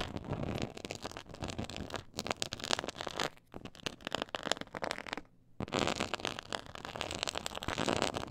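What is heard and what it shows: Long nails scratch a black pyramid-textured faux leather board, making a dense, crackly, broadband rasp with bright high-end hiss. The scratching runs in quick bursts with brief dips near 2 and 3.4 seconds and a short full pause around 5.3 seconds before it resumes steadily.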